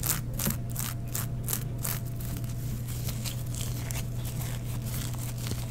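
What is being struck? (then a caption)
Sequined tulle mesh fabric. Both hands scrunch, rub and scratch a black sheer tulle mesh garment with sequin embroidery, using long nails. Bright, dry crinkling and scratchy rustles come in quick bursts, with faint sequin ticks over a steady low hum. The texture stays at an even, quiet level throughout.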